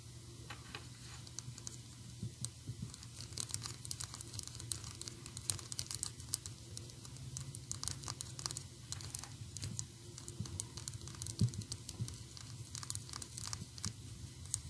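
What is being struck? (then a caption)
Small plastic toy figurine. A small, solid, painted PVC toy figure of Anger from Inside Out is held in the hands and tapped and scratched with long orange and black acrylic nails. Quiet, rapid, crisp clicking taps and dry scratching run continuously over a steady low hum, and each tap dies away almost instantly.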